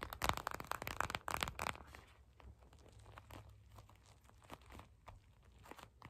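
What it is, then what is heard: Gel bead eye mask in plastic. Long acrylic nail tips tap a glittery purple gel bead eye mask in clear plastic lying flat. A dense burst of bright, crinkly clicks and crackles fills the first couple of seconds, then thins to softer, scattered taps over a steady low hum.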